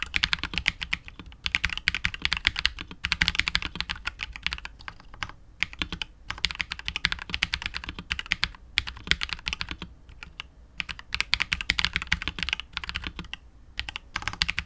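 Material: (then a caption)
Plastic. A 65% KBD67 Lite R2 mechanical keyboard with KTT Wine Red switches, PBT keycaps and a hollow clear polycarbonate case is typed on continuously with the fingertips of both hands. It produces a dense stream of bright, crisp clacks with very short decay, broken by brief pauses between bursts of typing.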